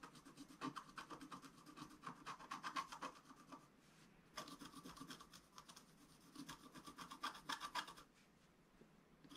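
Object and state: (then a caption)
Scratch art paper sheet. A wooden stylus scratches the coating of a flat scratch-art paper sheet lying on a table. It makes quick, rasping strokes in bursts, with a bright scratchy texture and a slight tonal edge near 1 kHz. The strokes pause briefly before each new run of scratching.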